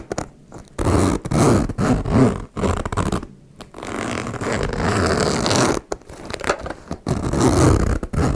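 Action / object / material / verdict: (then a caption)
scrape / metal zipper on a faux leather cosmetic pouch / metal / none. A small turquoise embossed faux leather cosmetic pouch is held in both hands while long-nailed fingers drag the slider of its metal zipper along the teeth, zipping it open and closed. Repeated raspy, ratcheting zipper runs sound in bursts with short pauses between them, mostly low and mid in tone with little bright content.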